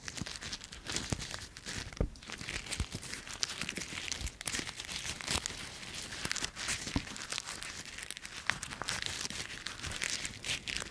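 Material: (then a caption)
Dry leaves. A small bunch of dry brown autumn leaves is crushed in a closed fist, then pinched between the fingertips. The result is a steady, bright, crackling crumple with many short, sharp crunches and occasional louder snaps.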